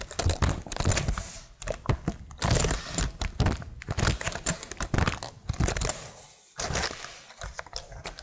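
Long nails tap rapidly across the plastic keycaps of a plastic laptop keyboard while one hand holds its edge. The result is a dense run of sharp, bright clicks over low, dull thuds, broken by a brief pause just past the six-second mark before the tapping resumes.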